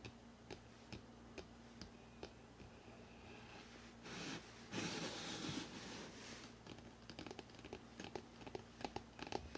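Fingertips tap and click on the spine of a hardcover book, first held vertically and then horizontally. Quiet, sharp, irregular taps with short bright clicks sit over a faint steady low hum. In the middle, a louder, longer burst of broadband rustling takes over before the crisp tapping returns.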